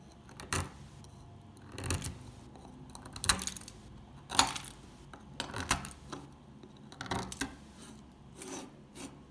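An old, solid, dry orange stamped soap bar is held in the hand while flakes are scraped and picked off with a metal pick and fingers. Short, crisp, bright crunching and scraping bursts come at irregular intervals, each dying away quickly over a quiet background.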